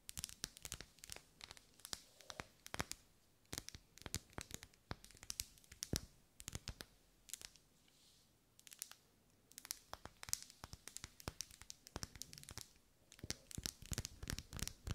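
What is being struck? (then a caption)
Ribbed wax pillar candle. A lit pink pillar candle of solid wax with vertical ribs is held in the hand and scratched and tapped along its ribs with long nails. Dense bursts of crisp, bright clicks and scratchy rasps come in quick clusters, with short quiet gaps between runs. Each tap is dry and dies away at once.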